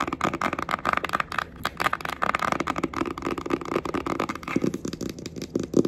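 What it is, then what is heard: Cardboard eyeshadow palette. Long acrylic nails tap and scratch the front cover and edge of a flat rectangular red cardboard Sheglam eyeshadow palette, a thin hollow box. The result is a quick, uneven stream of dry clicks and crackly scratches with a hollow, boxy midrange tone.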